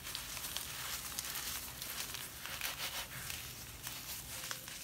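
A handful of damp grey sand is held above a glass bowl of sand while latex-gloved fingers crumble and rub it, squeezing clumps so they crush and fall. The result is a steady, soft, bright crackling and gritty crunching, with small sharper crackles throughout and little low-end weight.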